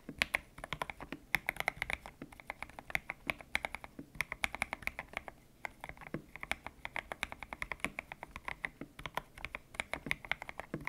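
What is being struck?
Mechanical keyboard with plastic keycaps.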